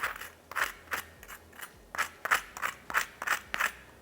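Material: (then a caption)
Fried breading. Breaded coating on a fried oyster mushroom is scraped and handled, producing a series of about twelve short, dry, rasping crunches concentrated in the upper mids. The crackly sound shows how crispy the breading is.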